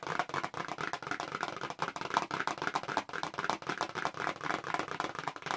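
Long pink nails tap fast on the flat back of a small, hollow, pink printed paperboard press-on nail box held in both hands close up. The result is a dense, continuous run of dry, papery clicks with a hollow midrange knock centred near 930 Hz, little low end and almost no ring after each tap.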